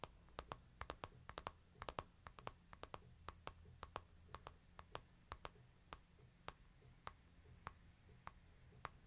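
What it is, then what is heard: Smartphone glass screen tapped. A fingertip and short nail tap and click on the glass screen of a small, flat, solid handheld smartphone with a light-colored frame, held in one hand near the microphone. The sound is a quiet, uneven run of sharp, dry clicks, each with a brief bright tick around 1 kHz that dies away almost instantly. A faint steady low hum sits underneath.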